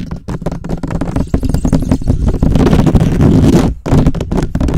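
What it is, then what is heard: Metal mesh microphone grille. Fingertips and short nails rapidly scratch and tap the rounded, hollow, perforated metal mesh grille of a black USB microphone. The result is a dense, irregular stream of boomy, low-heavy rubbing and thumping with a droning low tone, broken by brief pauses near the start and just before the end.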